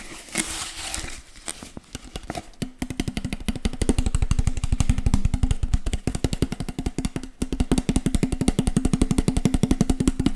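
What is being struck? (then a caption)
Plastic water bottle. An empty, hollow clear PET water bottle with a teal label is held in one hand close by while fingertips and nails tap and scratch its ridged sides. It opens with soft scratching and crinkling, then breaks into a fast, steady run of dense, hollow, low tapping with short bright clicks and crinkles over the top.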